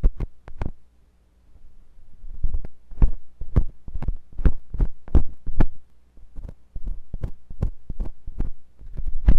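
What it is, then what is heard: Silicone ear of a binaural microphone, scraped. A metal curved carving tip with a wooden handle scratches and scrapes inside the ear canal of a white silicone binaural microphone ear. It produces a rapid, uneven series of short, muffled thumps and scratchy clicks, heavy in low end and close-sounding, over a steady low hum.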